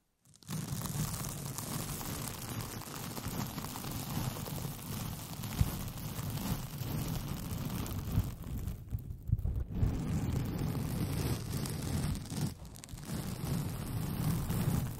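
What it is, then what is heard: Rolled paper tube, scratched. A white paper sheet with pink polka dots, rolled into a tube over the microphone and hollow inside, is scratched with long painted fingernails. The result is a steady, dense scratching with a deep, boomy hollow rumble that dominates the low end, briefly easing off around the 9- and 12-second marks.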